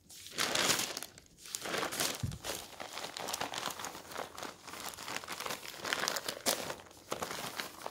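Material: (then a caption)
Paper. A hand turns and smooths the thin pages of an open newsprint newspaper resting on a wooden table. Bright, crisp rustling and crinkling comes in overlapping bursts, with a short low thump near the two-second mark. The paper noise runs almost continuously throughout.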